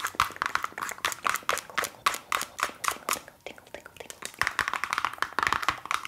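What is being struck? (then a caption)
Plastic cosmetics container. Fast, steady tapping on a Lush cosmetics container makes a rapid stream of sharp, short clicks with a bright ring around 1.2 kHz. The tapping eases into softer, lighter taps for about a second midway, then resumes at full pace.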